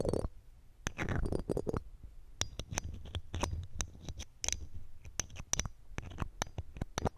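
A red-gem ring with a metal setting, held in metal tweezers, is rubbed and scratched against the round metal mesh grille of a silver condenser microphone. Sharp, bright clicks and scraping ticks come in quick irregular bursts over a low, boomy rumble, each click dying away almost instantly.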